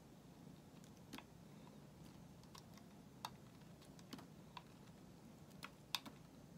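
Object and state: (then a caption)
Bar of soap being shaved. A solid white bar of soap held in the hand is shaved with a metal utility knife blade, peeling off curls. Short, crisp, bright clicks and scrapes sound at irregular intervals over a quiet, steady low background hiss, each one very brief with almost no ring.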